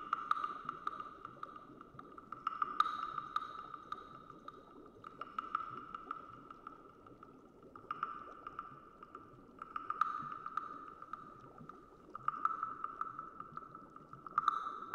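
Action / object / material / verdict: scrape / carved wooden frog guiro / wood / none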